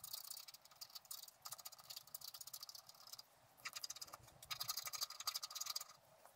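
A wooden stylus scratches the outline of a squirrel into a flat scratch-art card of black-coated paper. Quiet, bright, dry scratching comes in quick, uneven bursts of short strokes, with brief pauses between passes.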